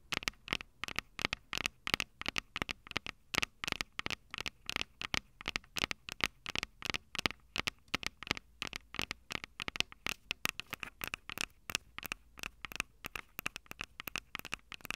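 Long acrylic nails tap rapidly and steadily on the metal-grilled microphone capsules of a Tascam DR-05 handheld recorder, a small, hollow plastic-bodied device. Each tap is a sharp, dry click with no ring, bright and thin with a focus near 2.3 kHz and almost no low end, forming a dense, irregular patter.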